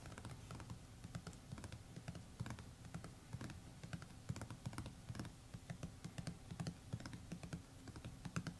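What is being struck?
Hardcover notebook cover.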